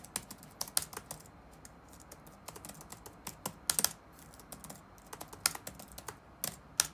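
Fingertips of both hands rapidly tap the keys of a dark plastic chiclet laptop keyboard resting on a wooden desk. Short, bright, clicky key strikes come in uneven bursts with quieter gaps, with very little low end. Each tap dies away almost instantly.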